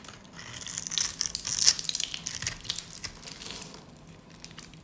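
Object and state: Dry soap bar being cut.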